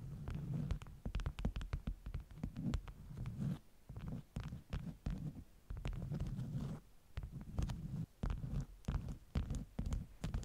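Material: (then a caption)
Beeswax cotton. Long nails tap and scratch the top sheets of a stack of flat beeswax-coated cotton wraps. Quick soft taps and scratchy rustling come in bursts with brief pauses. The sound is dull and muffled, with most of its energy in a low thumping range.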